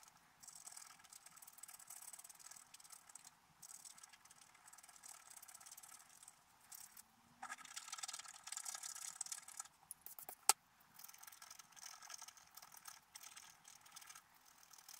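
A wooden stylus scratches the black coating of a scratch-art paper card held flat, making a steady, dry, high-pitched scratching with quiet gaps between strokes. The scratching grows louder and denser midway, and a single sharp click stands out shortly before it settles back into soft, bright strokes.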